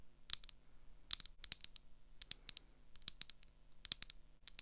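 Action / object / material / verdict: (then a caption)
tap / metal-framed eyeglasses with lenses / metal / none. Long acrylic nails tap the lenses and rims of thin gold metal round eyeglasses. The result is a string of sharp, bright, very short clicks in irregular clusters, with a faint low hum underneath.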